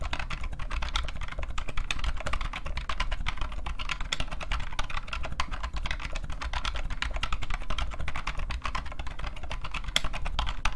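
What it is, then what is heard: Plastic rubber dome computer keyboard. Both hands type continuously with their fingertips on a new-old-stock IBM PCjr off-white plastic keyboard with a hollow case and rubber dome keys. Rapid, dense, hollow plastic taps with bright clicks run throughout over a steady low hum.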